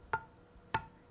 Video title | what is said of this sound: How to Make Jams and Jellies (Step-by-Step Tutorial) | Now listen to this one. Hear that dull sound? That tells me this jar hasn't sealed.